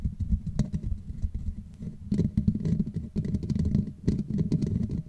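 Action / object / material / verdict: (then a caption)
scrape / woven metal mesh microphone grille / metal mesh / none. Long manicured nails of both hands scratch and tap across the hollow black woven metal mesh grille on the head of a Blue Yeti USB microphone. The result is a dense, continuous patter of quick, dry taps and scratches with a heavy, muffled low end, coming in rising and falling bursts with no ring after each hit.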